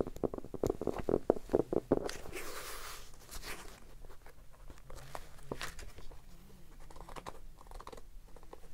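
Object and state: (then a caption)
Hardcover notebook, solid. A solid red hardcover notebook, held in the hands, is tapped quickly with the fingertips, giving dull, hollow knocks around 400 Hz. A brief brushing swish follows, then softer, scattered taps and light rustling as the cover is opened at the end.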